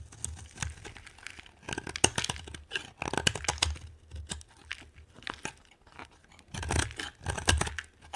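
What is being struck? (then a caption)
Soap bar cut with a knife blade. A brown translucent bar of dry solid soap is carved with a metal utility knife blade, and crumbly flakes pile up beside it. Repeated short, crisp scraping and crunching cuts come in bursts, with a bright, papery crackle over a soft low thump. Each cut stops dead with no ring.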